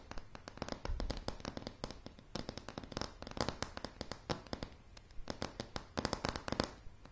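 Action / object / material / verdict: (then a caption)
tap / pine plank floor / pine wood / none. Long polished nails of both hands tap rapidly on a solid wooden plank floor of light pine floorboards. Dozens of short, crisp clicks with dull woody knocks come in quick, uneven bursts, each dying away almost at once.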